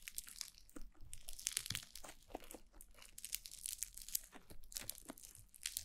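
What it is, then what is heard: Foam bead slime (floam). Fingertips with long blue nails press and knead a soft, bead-filled white foam-bead slime (floam) against a black glossy mannequin-head microphone. A dense, continuous stream of bright crackling, crinkling and crunchy popping is heard, with soft squishing and low thumps underneath.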